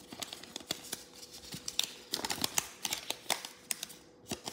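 A thin square sheet of yellow origami paper, partly folded into a crane base, rests on a wooden table while fingertips and thumbs crease and rub its folds. The paper gives off a rapid series of sharp, bright crackles and papery ticks that die away almost instantly, over a faint steady low hum.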